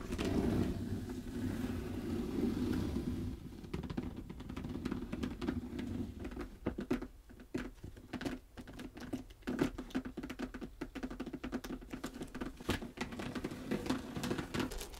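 Long red nails tap and scratch the scaled surface of a dark red snakeskin leather clutch lying flat. A soft, steady scratching rustle with a low hum opens the clip, then gives way to rapid, dry clicking taps and short scrapes. The taps are close and muffled, with little high end.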